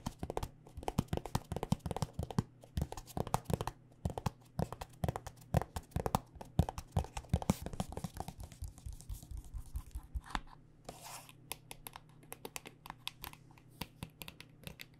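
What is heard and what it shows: Long dark nails tap rapidly on a white plastic body butter squeeze tube filled with lotion. The taps are quick, dry and short, with a dull low body and no ring, over a faint steady low hum. After about ten seconds the tapping turns lighter and sparser.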